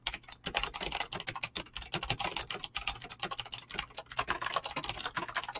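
Fingertips type fast and continuously on a mechanical keyboard with clicky green switches and PBT plastic keycaps. The result is a dense, rapid stream of sharp, bright clicks with almost no ring or low end.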